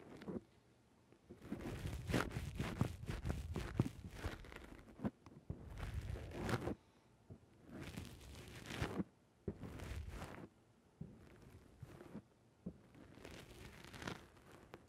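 Fingers squeeze the sides of a black rounded foam windscreen on a microphone, then a fingertip presses its top. The result is bursts of close, muffled, crinkly rustling with heavy low-end thumps, separated by brief quiet gaps.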